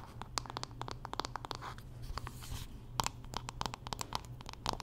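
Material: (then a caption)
Wood. Long nails scratch and tap along the solid wooden back and handle of a wooden paddle hairbrush. The result is a quick, uneven run of dry, woody clicks centred near 900 Hz, with bright ticks, short scratchy strokes between them, and a steady low hum underneath. Each tap stops almost at once, with no ring.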